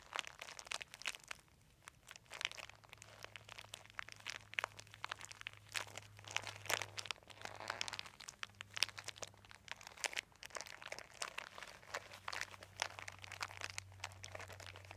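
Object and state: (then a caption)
Embossed plastic sheet being crinkled. A thin white embossed, dotted plastic sheet, folded into a long strip on carpet, is pressed and crinkled by both hands' fingertips. Dense, bright crackling and crunching runs for the whole clip in rapid, sharp bursts with almost no ring, over a faint steady low hum.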